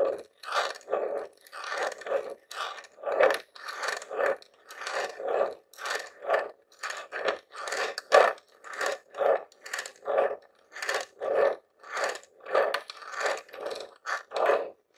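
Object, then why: Plastic game console casing. Fingertips and nails tap and scratch the top and vents of a grey plastic Nintendo mini console, a hollow box. A steady series of short, dry, hollow scratchy strokes carries a mid tone around 590 Hz with a brighter rasp, each stroke dying away quickly.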